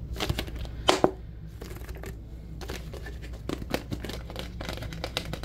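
An empty-looking, hollow clear plastic Powerade drink bottle with a blue label is held in both hands and squeezed and crinkled with the fingers, its shape changing as it is crushed. Bursts of bright crackling and crinkling come in waves, with two sharp, louder pops near the start over a steady low background hum.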